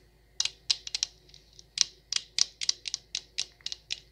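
Long acrylic nails tap an empty, hollow stemless wine glass with a printed logo label. About fifteen quick, irregular clicks sound, each bright and high-pitched with almost no ring.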